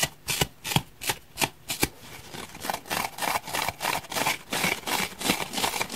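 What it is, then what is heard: Foam block being scratched. Fingernails scrape and rub across the torn surface of a solid, deeply scratched grey foam block. The result is a quick series of dry, bright rasping strokes that start as separate scratches and then run together into a faster, denser rubbing.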